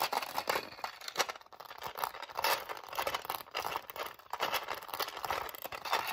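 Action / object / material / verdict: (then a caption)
tap / hard plastic bobbin case filled with bobbins / plastic / none. Long nails tap and scratch the compartment lids of a clear hard-plastic bobbin storage case filled with thread bobbins as the case is turned in the hands. Quick, dry plastic clicks and bright, crinkly scratching overlap in a dense, uneven flurry, with no low end and almost no ring after each tap.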